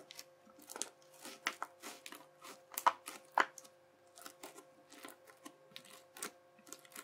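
A yellow plastic knife edge chops repeatedly across a wide sheet of teal, bubbly crunchy slime. Each chop gives a short, dry crackling crunch with a bright, crisp top, arriving at an uneven pace, with two louder pops near the middle. A faint steady tone hums underneath throughout.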